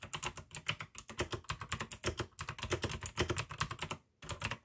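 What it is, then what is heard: Plastic mechanical keyboard. Fingertips of both hands type continuously on a full-size pink AUKEY mechanical keyboard with plastic keycaps and clicky blue switches. A rapid stream of sharp, bright clicks rides over a low plastic thock, with each keystroke decaying almost instantly. A brief pause near the end breaks the typing before it resumes.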